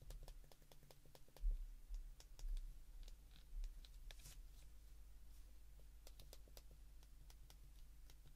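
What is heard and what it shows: Thumbs and fingertips repeatedly press the rubbery plastic number keys of a small white plastic flip phone held open in both hands. Quick, bright button clicks tick out at an uneven pace over a steady low hum, with a few louder clacks early on.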